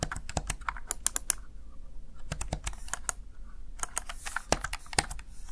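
Fingertips rapidly press the keys of a Razer Tartarus Chroma plastic backlit gaming keypad. Sharp, bright plastic clicks come in quick bursts separated by brief pauses, each tap cutting off almost instantly over a low background rumble.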